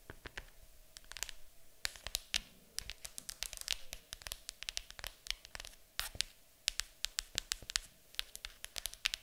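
Long acrylic nails tap and scratch a large, hollow, printed cardboard board game box lying flat on a table. Many rapid, sharp, bright clicks come in irregular bursts, with short dry scratches between them. There is almost no low end, and each tap dies away instantly.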